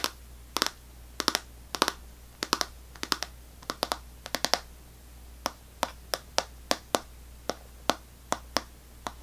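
An unwrapped Extra gum pack, a clear plastic tray full of foil-wrapped sticks with a paper label, is held in one hand and tapped with long nails. About 30 sharp, bright clicks sound, in quick clusters of two or three at first and then as evenly spaced single taps. Each click dies almost instantly over a faint steady low hum.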